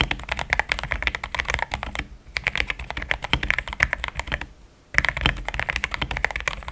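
Fast fingertip typing on a compact pink-cased mechanical keyboard with thick cream XDA plastic keycaps gives a solid, rapid stream of short, bright clacks. The keystrokes come in quick runs with brief pauses near 2 and 4.5 seconds.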